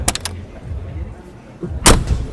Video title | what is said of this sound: BUKAN G-CLASS!! INI DIA BAIC BJ80, TERNYATA ADA ALASANNYA BISA MIRIP MERCY. SEENAK APA MOBILNYA? | punya ciri khas tutup pintunya yang stronger than time